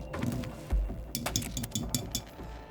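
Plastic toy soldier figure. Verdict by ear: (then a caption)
Hard. A vintage American hard plastic toy soldier figure is tapped, giving a series of sharp, short clicks. The clinks are high-pitched rather than muffled, suggesting a hard, rigid plastic.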